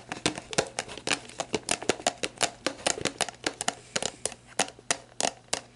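Long black nails tap and scratch the label of a clear plastic sports drink bottle with its orange cap on, hollow and mostly empty, lying on its side. The result is a rapid, uneven series of sharp, bright clicks with a hollow plastic tone, each dying almost instantly. Scratchy crinkling fills the gaps over a faint steady low hum.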